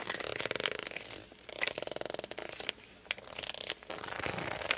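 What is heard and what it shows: Fingertips grip and rub the glossy cover of a hardcover book. The result is bursts of fast, stuttering squeaks with a bright, rasping texture, broken up by sharp high clicks and short pauses.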